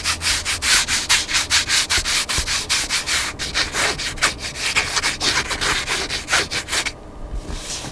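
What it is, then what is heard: Scratching a cloth-covered hardcover book spine. Fingertips and nails scratch rapidly back and forth along the black cloth-covered spine of a hardcover book lying on a table. The result is a fast, uneven series of bright, dry scratching strokes with almost no low end. The scratching grows quieter and softer in the final second.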